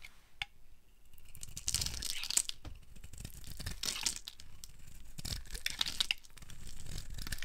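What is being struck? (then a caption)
Soap bar carved with a metal blade. A solid, opaque, rounded yellow bar of dry soap is held in the hand and carved by a metal blade into crumbly strips. The result is a steady run of dry, crisp scraping and crackling with bright, high crunches and sharp snaps. These rise and fall over a low rustle.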